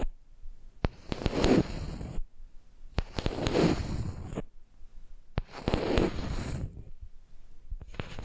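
Long nails tap and scratch the top of a flat, solid wooden makeup brush handle lying across a microphone. Sharp clicks are heard over a soft, low, rustling scrape. The sound comes in three bursts of a couple of seconds each, with quiet gaps between them, and another burst starts at the very end.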